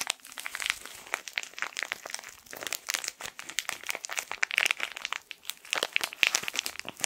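A small, colorful plastic-wrapped tissue packet is squeezed and twisted with the fingertips. Its film crinkles in dense, bright, rapid crackles that come in bursts with brief quieter gaps and have almost no low end.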